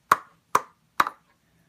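A rubber balloon with its tip cut off, stretched over a container like a drum, is flicked three times; its membrane dips in the middle because the tension is loose. Each flick gives a short, dull tap centred around 1.1 kHz that dies away quickly. The loose membrane produces the lower pitch.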